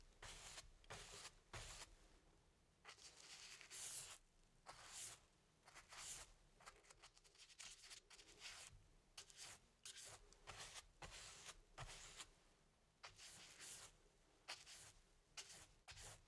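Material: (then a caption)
Cotton canvas. A paintbrush rubs and dabs black paint onto the lower part of a medium stretched cotton canvas on an easel, thin fabric over a hollow wooden frame. A steady series of short, bright, scratchy brush strokes sounds with soft gaps between them, faint and mostly high with a light low rumble underneath.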